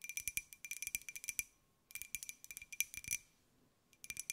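A small, hollow white glazed ceramic jar with a pineapple print is held in the hands and tapped with long nails. Quick, bright clicking taps come in three bursts with short pauses between them, each tap carrying a thin, high ring that dies away almost at once.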